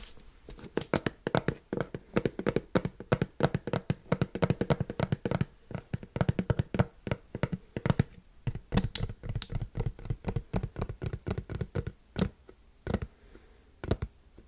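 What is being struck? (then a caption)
Plastic screw lid on a large plastic tub. Fingertips of one hand rapidly tap the top of a black plastic screw lid on a large, hollow white plastic supplement tub. The taps come in fast, uneven bursts of short, dry, hollow thuds, mostly low in tone and dying away almost instantly, with brief pauses between runs.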